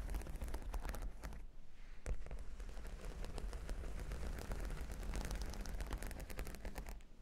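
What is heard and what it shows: Long pink nails on both hands scratch and tap across a solid, flat cork board covered with plastic half-pearl sticker studs. The result is a dense, continuous stream of quick clicky taps and scratches with a heavy low thump, easing briefly near the two-second mark before carrying on.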